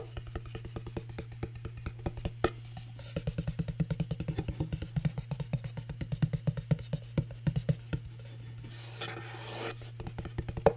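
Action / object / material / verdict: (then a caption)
tap / cardboard gift box covered in glitter paper / cardboard / none. Long nails rapidly tap and scratch the glittery face and edge of a small hollow cardboard gift box with a teal glitter-paper lid, held close to the mic. A dense stream of short, dry clicks rides over a steady low hum, with a brief softer scraping rustle near the end.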